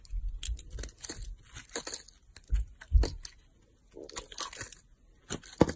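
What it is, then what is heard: Bar soap being carved. A solid pink soap bar is held in the hand and carved with a yellow-handled utility knife, and crumbly pieces break off. Irregular bursts of dry cutting, scraping and crunching crackle across the clip, with dull low thumps and brief bright edges.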